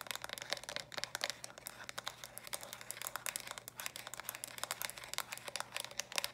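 A small hollow plastic stacking toy cube, built from pink, lilac and purple block sections, is held close and tapped and scratched quickly with long dark nails. The result is a dense run of bright, dry clicks and crinkly scratching with almost no ring, over a faint steady low hum.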